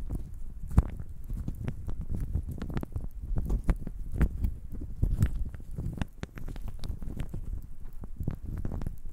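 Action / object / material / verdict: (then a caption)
shake / handful of small wooden cubes / wood / none. A handful of small, solid, reddish-grained wooden cubes is held in the hands and shaken, with the fingers rolling and knocking the cubes against each other. The result is a dense, continuous patter of quick, dry knocks and clicks, mostly low and muffled, with occasional sharper, brighter taps standing out.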